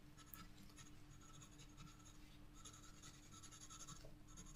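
A black graphite pencil held in the fingertips scratches and shades across a flat spiral-bound sketchbook page bearing a flower drawing. Quick, dry scratching strokes with a bright, papery rasp come in bursts over a steady low hum. The sound stays quiet and even throughout.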